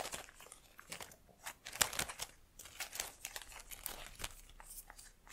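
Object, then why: Plastic leaves of an artificial plant. Long nails rub and flick the leaves of an artificial plastic plant in a black pot. Dry, bright crinkling and crackling rustles come in quick bursts, with little low end and almost no ring after each touch.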